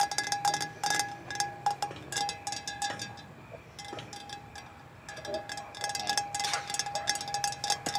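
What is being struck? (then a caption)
Painted metal playground pipe. Fingertips and nails of two people tap and scratch a hollow, orange-painted metal playground pipe with chipped paint. Rapid, irregular taps ring out as bright metallic pings with a steady tone near 800 Hz and 1.7 kHz, mixed with scratchy high rasps. The taps briefly quiet in the middle before picking up again.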